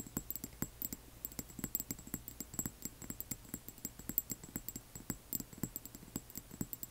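Long nails tap rapidly on both sides of a small upright frosted amber glass serum dropper bottle holding liquid. Dozens of quick, quiet, dry clicks patter in an uneven stream, each with a soft low knock and a bright glassy tick that stops almost instantly.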